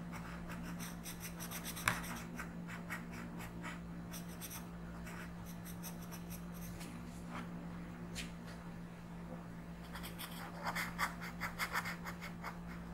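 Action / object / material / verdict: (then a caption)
scrape / colored pencil rubbed on a paper coloring page / paper / none. A yellow colored pencil is rubbed across a flat paper coloring book page while coloring, making soft, bright scratching strokes in short bursts over a steady low hum. A sharper tap stands out near the start, and a quicker run of louder strokes comes near the end.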